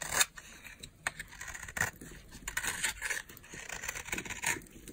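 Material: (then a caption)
Soap. A utility knife blade carves and scrapes a solid, dry, green oval bar of soap held in the hand, shaving off flakes. Crisp, bright crunching scrapes come in a quick, uneven run of short bursts with almost no low end and no ringing tail.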